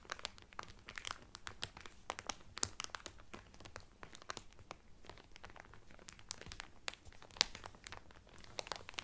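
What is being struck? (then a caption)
Cellophane-wrapped cotton towel. Hands press and rub the cellophane wrapping on a cotton towel, producing a steady stream of sharp, bright crinkles and crackles. Dense clusters of quick snaps run throughout over a faint low background hum, with a few louder crisp pops standing out.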